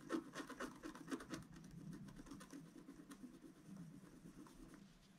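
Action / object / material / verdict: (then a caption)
scrape / black-coated scratch-art paper card scratched with a wooden stylus / coated paper / none. A wooden stylus scratches fine lines into the coating of a flat, solid black-coated scratch-art paper card about notebook size, working near the flowers. Quiet, dry scraping strokes come in an uneven rhythm of about two per second, louder and denser at the start, then settle into a softer, steady rasp with a low-mid rubbing tone.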